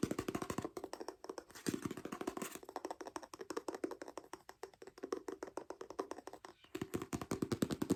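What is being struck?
Hardcover book, paper and board.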